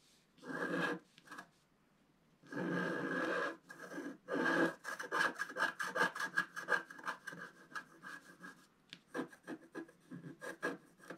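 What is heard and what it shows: A wooden stylus scratches boat shapes into a flat, black-coated scratch-art paper sheet. It starts with a few longer, dry rasping scrapes separated by pauses, then shifts into a quick run of short scratching strokes. The strokes carry a faint whistly tone near 1.6 kHz and bright, papery edges.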